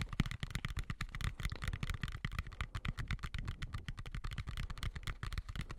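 Fingertips and nails rapidly tap and scratch a medium white plastic colander with slots, hollow and empty, turned upside down over the microphone. The result is a dense, continuous run of soft, low, hollow thumps, each with a bright clicky edge and no ring. Light scratchy textures run between the taps.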